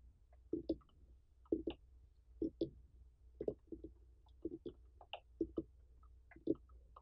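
Long fingernails of both hands tap and scratch the ribbed rind of a large, uncut orange pumpkin with a dry stem, its rind intact and not hollowed. The result is quiet, dull, hollow-toned clicks around 320 Hz, mostly landing in quick pairs at a steady pace, each dying away almost at once over a faint low hum.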